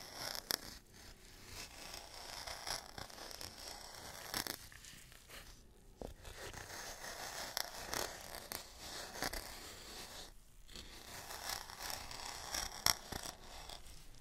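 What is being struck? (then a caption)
Wooden mortar and pestle with dry contents. A gloved hand works a wooden pestle with a metal tip inside a small solid wooden mortar holding dark dry contents, grinding and scraping against the wood and the contents. The result is a steady, bright, gritty scratching over about 14 seconds, punctuated by short sharp clicks and brief pauses.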